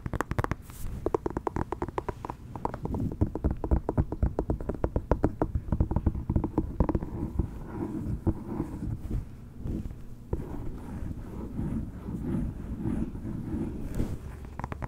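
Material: Pumpkin rind.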